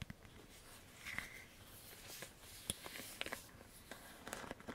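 Fingertips and nails tap the hollow back of a black plastic paddle hairbrush held close, then scratch across its bristles. About nine short, crisp plastic taps stand out over a soft, hissy scratching texture, all at a quiet level with no ringing.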